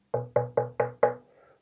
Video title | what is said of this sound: Mon Yoda de 20 cm imprimé en 3D pour 7€. | ça fait un peu ton bois il ya vraiment creux je pense que vous entendez quand je tape proche du micro c'est vraiment très creux